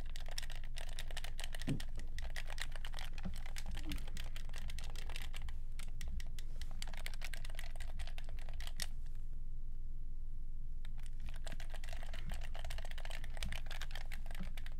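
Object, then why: Plastic game controller. Fingertips rapidly tap and click the buttons of a black, hollow plastic game controller held close up, making a fast, steady stream of sharp clicks. A constant low hum sits underneath, and the clicking briefly thins out near the middle before picking back up.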